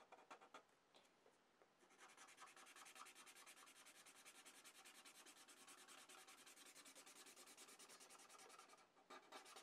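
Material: Paper.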